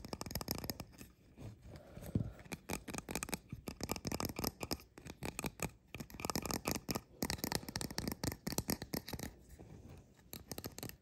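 Fingertips and nails rapidly tap and scratch the two mushroom caps and their undersides of a small painted resin fairy-house figurine standing upright. The result is a quick stream of short, dry clicks and scratchy rasps that barely ring, with a few brief pauses between bursts.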